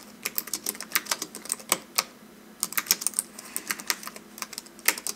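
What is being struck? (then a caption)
Slim keyboard with plastic keys on an aluminum base. Fingertips of both hands type continuously on a slim white wireless keyboard with plastic keys and an aluminum base, resting on a velvet desk. Rapid, bright, crisp key clicks come in two quick bursts separated by a brief pause near the middle, each tap dying away almost instantly with no low thump beneath.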